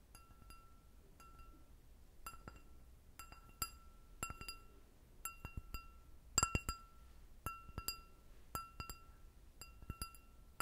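An empty clear glass goblet with a short stem is tapped on its bowl with long nails. The hits come in a scattered series of sharp, bright clinks, each with a steady ringing tone near 1.3 kHz and higher partials. They fade quickly over a low, quiet background.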